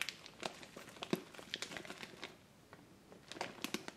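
Fingertips and long painted nails press, rub and scratch a large, full, soft clear plastic bag of soy wax flakes with a paper label, lying on a wooden table. Bright, crisp crinkles and sharp scratchy ticks come in quick, uneven bursts, ease into a brief quieter lull, then pick up again toward the end.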